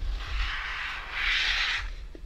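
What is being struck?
Nothing is struck.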